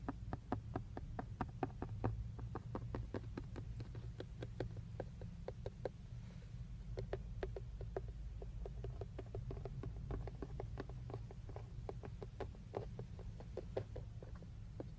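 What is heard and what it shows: Fingertips and nails tap and scratch at various spots on a hollow, textured black plastic steering wheel airbag cover. The result is a rapid series of short, dry clicks with bright edges and little ring, over a steady low hum throughout.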